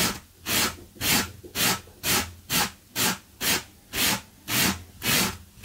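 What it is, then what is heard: Low-pile fabric carpet runner being brushed. A gloved hand brushes a blue low-pile textile carpet runner with a small yellow-handled wire brush, while a metal tin rests untouched nearby. Eleven bright, hissy scratching strokes come in a steady rhythm of about two per second. Each stroke swells and fades quickly, with quiet gaps between them.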